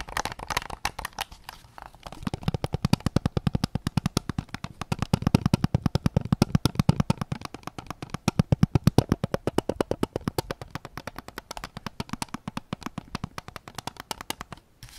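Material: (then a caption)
Plastic. Fingertips tap rapidly on the back and grip of a white PS5 controller made of hollow plastic. The result is a steady stream of short, dry clicks with a low, hollow thump beneath them and almost no ring. The tapping varies slightly in loudness and continues for the whole clip.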